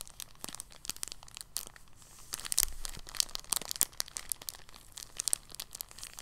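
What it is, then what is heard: Soft plastic bag. A thin, clear, empty soft polyethylene plastic bag lying on a table is folded and pressed flat with fingers. It gives quiet, dense, bright crinkling with many sharp, crisp crackles that stop instantly, and a few louder crunches in the middle.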